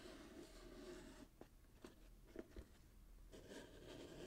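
A small, hollow, closed cardboard box, wrapped in gold glitter-striped paper with a satin bow and held in both hands, is scratched and tapped by fingertips and short nails. Soft, steady scratching on the wrapped surface gives way to a quieter stretch with four short, dull taps. The scratching then resumes.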